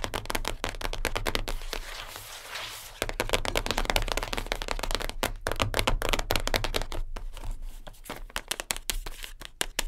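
Long nails tap rapidly on top of a closed, flat, hollow light-blue cardboard perfume gift box, which is then picked up so its back can be tapped. Quick, dry, hollow clicks come in irregular bursts with a brief softer stretch before the tapping returns. A steady low hum runs underneath.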